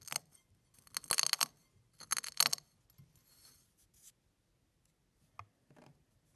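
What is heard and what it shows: A bare fingertip presses and crushes a pile of small, thin, brittle, hollow-curved brown and white chicken eggshell pieces spread on a flat blue-and-white surface, then two fingers pinch and lift a handful. Bursts of bright, dry crackling and crunching come with each press, loudest in the first half. Fainter rustles and a few soft isolated clicks follow.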